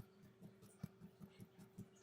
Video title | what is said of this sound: Making Challah: Part II | a more accurate way to tell if your bread is done is to actually knock on it and if you hear that hollow sound you know your bread is done